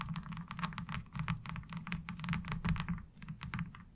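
Long acrylic nails tap and scratch across a light blue molded plastic laundry washboard with a diamond-textured surface, thin and hollow-backed, lying on fabric. A rapid run of quick, dry clicks and scrapes, bright on top over a steady low hollow hum, patters along unevenly with little ring after each hit.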